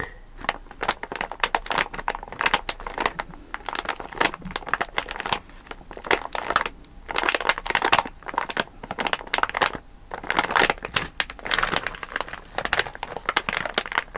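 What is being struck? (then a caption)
Sealed plastic bag of candies. A full, sealed plastic bag of Malang Cow milk candies is pressed and rubbed with fingertips, then tilted and handled. The result is dense, continuous crinkling and crackling with many quick, bright bursts and almost no low end.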